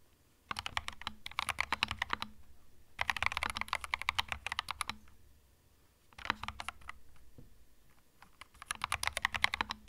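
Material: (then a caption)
Plastic. Fingertips of both hands type steadily on a small 65% mechanical keyboard with plastic keycaps resting on a felt desk mat. Four bursts of quick, bright, clacky keystrokes come through, each with a faint low thump beneath, separated by short quiet pauses.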